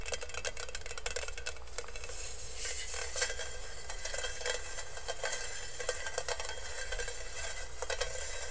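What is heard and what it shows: Fingernails scratch and rub the perforated base of a hollow, empty stainless steel colander held close to the microphone. The result is a continuous, bright, sizzle-like scraping with quick metallic ticks and a steady low hum underneath.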